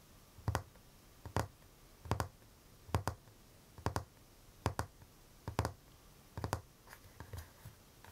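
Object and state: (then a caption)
Wooden chest of drawers, hollow panel. Short painted nails and fingertips tap and scratch the glossy varnished wooden drawer front of a large chest, a hollow panel, ending with a flat palm rub. Soft paired knocks with low, hollow thuds and brief bright clicks repeat at an uneven pace over a quiet background. A faint cicada may be heard behind them.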